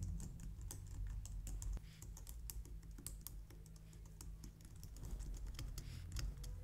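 Both hands with long painted nails type quickly on a white plastic low-profile wireless keyboard. Crisp, bright key clicks tap out in an irregular stream over a steady low hum.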